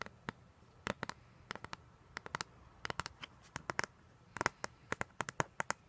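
Long gold-polished nails tap and scratch across the printed front cover of a flat, roughly 30 cm square cardboard album sleeve for a vinyl record, held up facing outward. The result is an irregular series of sharp, dry clicks that die away almost instantly, some in quick clusters, with a bright papery edge centered around 1.4 kHz. Between the clicks there is only a faint low hum.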